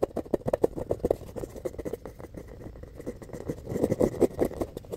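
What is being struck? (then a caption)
Palm-sized foam ball. A palm-sized, solid, rainbow-colored foam ball is scratched with fingernails and squeezed in the hand. The result is a rapid run of short, dry scratching and crinkling strokes centered in the low-mid range. The strokes have a soft, muffled body and little high-end sparkle, with a denser flurry near the end.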